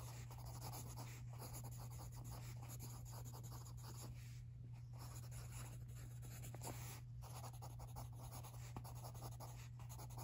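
A pencil scratches steadily across an open lined paper notebook lying on carpet while writing, as a hand with long nails holds the right page steady. The quiet, continuous scratching rasps over a constant low hum throughout.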